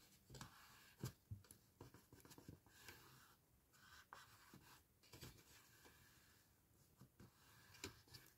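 Fingertips and nails rub and scratch along the base edge of a small, hollow, empty patterned cardstock paper gift box standing on a towel, creasing the fold. Quiet, papery scratching and dry rubbing continue throughout, broken by sharp little ticks and brighter scrapes that die away almost instantly.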